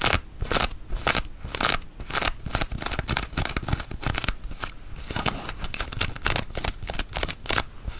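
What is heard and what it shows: Long nails scratch and pinch a grey cotton flannel shirt sleeve and its buttoned cuff, the woven fabric worn on the arm. Rapid, bright, dry scratching strokes come in quick bursts with a soft rustling between them.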